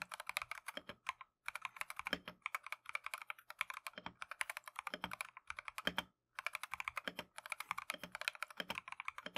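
Gloved fingertips type continuously on a Keychron V1 plastic mechanical keyboard with Tangerine switches and green/cream "Matcha" PBT keycaps. The result is a fast stream of short, bright clacks with almost no low end, broken by brief pauses near 1 and 6 seconds.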